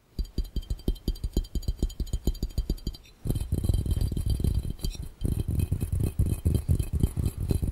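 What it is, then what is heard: Glass fishbowl tapped. Fingertips tap quickly on a glass fishbowl, first as separate, evenly spaced dull knocks with a faint bright glassy shimmer above them. After a brief pause the tapping speeds up into a dense, continuous patter, stops again for a moment, and then resumes just as fast.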